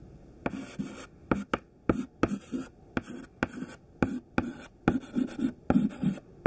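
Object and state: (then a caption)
Chalk writing on a chalkboard. A thin white chalk stick held in the fingertips writes a list on a black chalkboard. Fifteen sharp, dry taps of the chalk tip mark the dots, with short, grainy scratching strokes between them. Each tap stops almost instantly with no ring.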